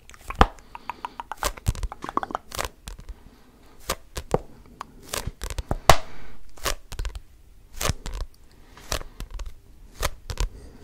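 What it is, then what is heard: Paperback book being scratched and gripped. Fingertips scratch and grip the cover and page edges of a red paperback book held close to the microphone. Many short, dry scraping and crackling strokes come in quick irregular bursts, each with a soft low thump and almost no ring.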